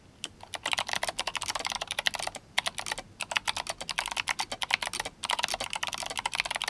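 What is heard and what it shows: Fingertips of both hands type fast on a GMMK Compact RGB-backlit mechanical keyboard with clicky Kailh Box White switches and plastic SA keycaps. Dense, bright, crisp clicks rattle out in quick bursts, with short pauses in between. Each keystroke is sharp and dies away almost instantly, with very little low end.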